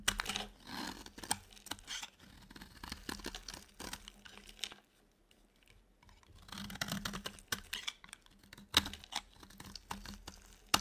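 A utility knife blade scrapes a dry, solid white soap bar, curling off shavings in a run of short, crisp, bright scratching strokes. The scraping goes nearly silent for about a second in the middle, then resumes with sharper crackles toward the end.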